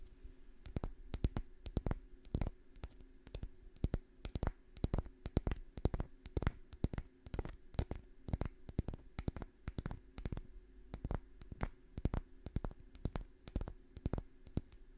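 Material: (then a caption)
Wood. Long painted fingernails scratch along the scales of a small, dry brown pine cone held close to the microphone. It makes a rapid, irregular series of short, dry, bright clicks over a faint steady low hum, each click stopping almost instantly.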